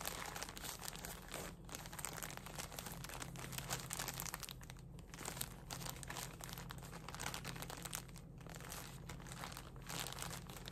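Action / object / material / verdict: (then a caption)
scrape / soft plastic package of cotton pads / plastic / none. A full, soft plastic package of cotton pads is crinkled and squeezed with fingertips and nails for about eleven seconds. Dense, bright crackles and rustles run steadily at a quiet level, with a constant low hum underneath.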